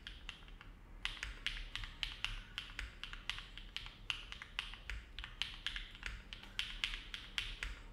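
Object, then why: Mechanical keyboard with aluminum plate and plastic keycaps. Fingertips of both hands type continuously on a compact Neo70 mechanical keyboard with an aluminum plate, foam dampening and dark GMK plastic keycaps, resting on a desk mat. About 35 short, bright, crisp keystrokes centered near 3 kHz sound at a steady, unhurried pace, each dying away quickly over a faint low hum.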